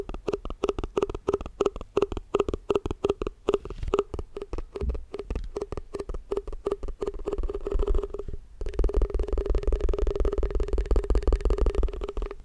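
Fast, aggressive tapping on a plastic tupperware food container: a rapid run of short, dry, hollow taps with a low thud and a faint recurring mid-pitched tone. After about 8.5 seconds the tapping becomes denser, steadier and slightly louder until the end.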